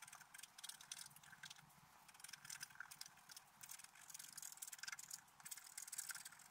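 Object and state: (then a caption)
Scratch art paper being scratched. A wooden stylus scratches lines into a flat, black-coated scratch art paper sheet held down with the left hand, with a brush lying unused beside it. Quick, bright, hissy scratching strokes follow one another almost continuously, with very little low end.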